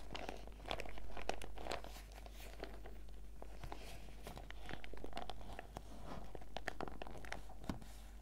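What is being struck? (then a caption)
Clear PVC zip pouch with sachets inside. A small, clear, flexible PVC zip pouch with a pineapple and watermelon print, full of face mask sachets, is held in both hands and squeezed and crinkled with fingertips and long red nails. Dense, irregular crackling and crunching crinkles with sharp bright clicks run through the whole clip in soft swelling waves, over a steady low hum.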